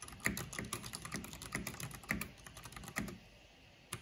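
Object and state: Plastic mechanical keyboard being typed on.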